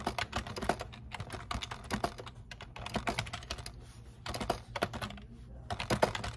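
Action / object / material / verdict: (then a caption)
tap / plastic computer keyboard / plastic / none. A black plastic computer keyboard on a desk is typed on continuously with fingertips pressing the keys. Quick, dry clicks and taps follow one another in an uneven rhythm, with a few louder keystrokes standing out and a faint low hum underneath.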